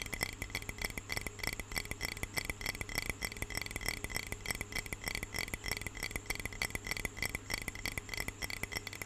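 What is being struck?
Glass jar of water.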